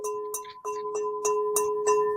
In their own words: okay I have a crystal bowl and this is Crystal I'll do my little ring test